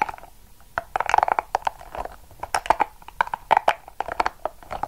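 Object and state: Soft rubber spiky ball being squeezed and scratched.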